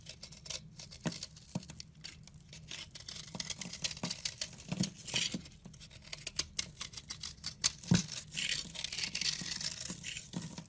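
A round soap bar with a blue-painted top is held in the hand and scraped with a utility knife blade down to white and pink soap. Dense, dry, bright scraping and crisp shaving sounds come in rapid, uneven strokes with a few sharper snaps, and the sound stops quickly between strokes.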